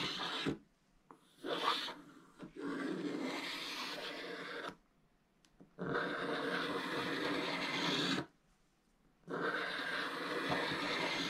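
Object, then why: Scratch-art paper page scratched with a wooden stick. A wooden stick scratches the black coating of a flat scratch-art paper page lying in an open book, drawn in downward strokes. Long, dry, rasping scrapes with a bright, papery hiss and almost no low end come in sustained passes separated by short silent pauses.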